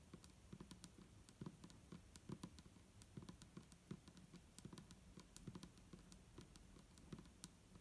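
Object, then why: Clear plastic bottle partly filled with liquid. Long nails of both hands tap quickly on the sides of an upright, hollow, clear plastic micellar water bottle with a green cap and liquid inside. The result is a quiet, steady stream of short, dry clicks, each with a hollow low body and a bright ticking edge, dying away almost instantly.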